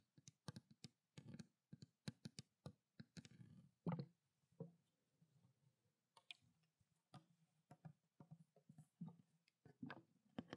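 Long black nails tap on the cap top and the labeled body of a small clear plastic water bottle holding water, making about 27 quick, separate clicks. Each tap gives a soft, hollow knock with a low tone and a brief, short ring.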